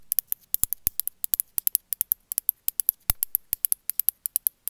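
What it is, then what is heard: Glazed ceramic figurine tapped with nails. A small, gray, glazed ceramic cat figurine held in the hand is tapped and scratched with long metallic nails. About 35 quick, sharp, bright clicks land in an irregular rhythm, each dying away almost instantly, while a faint low hum sits underneath.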